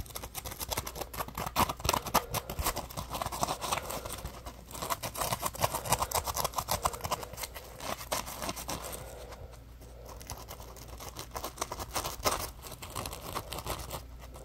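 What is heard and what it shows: A palm-sized yellow Scrub Daddy puppy sponge of textured, solid and porous polymer foam is held in both hands while fingertips and short nails scratch and squeeze its surface. This makes dense, irregular, crackly scratching and rustling centred in the midrange, with brief bright ticks and a steady low hum underneath. The scratching swells and eases in waves throughout the clip.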